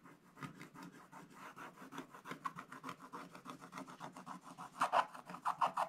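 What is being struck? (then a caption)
Scratch-art paper with black coating, scratched with a wooden stylus. A thin wooden stylus scratches away the black coating over a Christmas tree on a flat scratch-art paper page in an Advent book. The book lies on a table and is held open by the other hand. Quick, uneven rasping strokes repeat with a midrange scratchy tone, and the last few strokes are louder and brighter.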